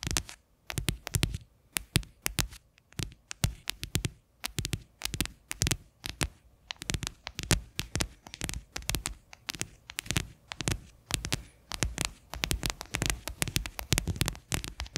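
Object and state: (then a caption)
Plastic bowl tapped with fingernails. Fingernails and fingertips tap the flat bottom of a medium, faceted white plastic bowl set upside down, hollow and empty. Rapid bursts of sharp, bright clicks alternate with softer, hollow low thuds. Each tap dies away almost at once, with brief pauses between the flurries.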